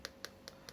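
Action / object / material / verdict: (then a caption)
tap / smartphone glass back panel / glass / none. Four light taps on the Gorilla Glass 5 back panel of a Sony XZ3 smartphone, knocked to show how it sounds. Each tap is a short, bright click that dies away almost instantly, with a faint ring near 540 Hz and energy from around 1.5 kHz. This is the normal sound of the glass back.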